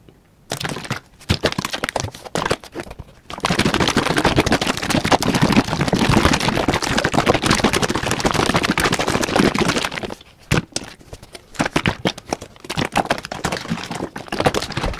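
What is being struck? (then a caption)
Plastic drain cleaner bottle with gel inside. A large, hollow yellow plastic Liquid-Plumr gel bottle, partly full of liquid gel, is held in hand and shaken rapidly in front of the microphone. Fast, crackly sloshing and clattering bursts start and stop in the first few seconds, then run as a loud, dense, continuous rattle from about 3 to 10 seconds. The shaking then drops back to quieter, choppier bursts until the end.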